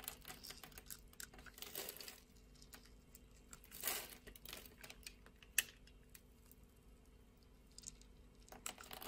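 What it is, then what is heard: Soap bar scraped with a blade. A blade scores a solid orange translucent bar of soap held in the palm and scrapes off small cubes. Many quick, bright crackling ticks and dry scraping bursts sound over a quiet background, with louder crunchy swells around two and four seconds and a sharp snap shortly after.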